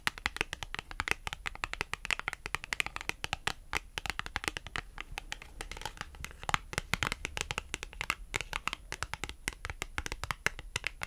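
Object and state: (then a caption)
Cardboard price tag. A small, thin, flat dark blue printed cardstock clothing price tag (France Rugby) is held in the hand while long almond acrylic nails tap and scratch along its face and edge. Dense, rapid, dry clicks and light scratches follow one another almost continuously, bright and crisp with a papery rustle and almost no ring.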